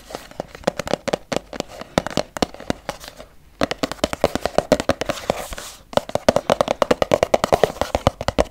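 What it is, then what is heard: Plastic squeeze tube. A medium-size, filled pink Lumene cleansing cream plastic tube is tapped quickly with long yellow nails. The result is rapid, crisp plastic clicks with a hollow tone around 660 Hz. The tapping runs in bursts, with brief pauses near 3.5 and 6 seconds.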